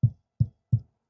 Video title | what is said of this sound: 카오디오 스피커 장착 시 알갈이 윗 단계 난이도 과정을 보여줍니다 How to fix the car audio speaker Difficulty Up 스피커 채결아대 링 장착 요령 | 앞에는 좀 맑은 소리가 나는데